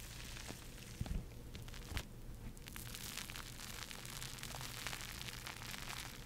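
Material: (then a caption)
Foam. A porous foam bath sponge is squeezed and scratched with long nails, producing a steady, dense crackling and rustling with bright, fizzy scratches. Soft, dull thumps from the squeezing stand out around the first and second seconds.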